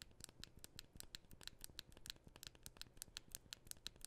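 A fingernail scratches the back of a thin, solid white and gold aluminum iPhone held in both hands. The result is a rapid series of short, dry scratching ticks with a bright, high ringing edge over a faint low rustle.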